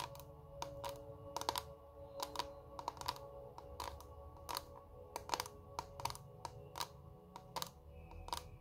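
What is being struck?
Clear plastic makeup compact.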